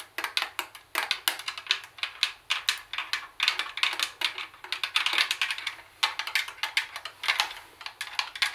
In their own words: I am tapping the cd tape recorder with my long nails.